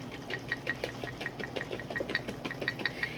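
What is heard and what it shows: A lidded glass jar half full of liquid heavy cream is shaken by hand to thicken it, giving a steady run of about 15 quick, sharp sloshing splashes with a bright ringing edge. The cream is still liquid and can be heard sloshing around inside the jar.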